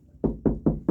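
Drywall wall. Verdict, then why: Hollow. Four knuckle knocks on drywall between studs give a hollow, low-pitched thud with a short ring. The hollow sound shows there is no stud behind that part of the wall.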